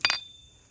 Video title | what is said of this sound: Getting our country Colonial cottage ready for fall in New England. A New England Fine Living Vlog | Give it a shake and it rattles.